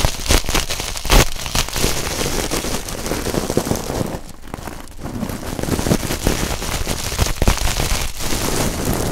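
A coiled stainless steel scouring pad is squeezed between two pencil microphones, its metal ribbons crackling in a dense, continuous rustle with sharp pops and low thumps. The crackle eases briefly midway before building again.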